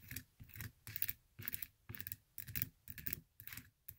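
Long acrylic nails scratch and tap the textured glitter straps of a silver glitter-covered fabric stiletto sandal standing on a table. The result is quick, rough rasping bursts with crisp high-end crackle, repeating about twice a second in nine separate bursts.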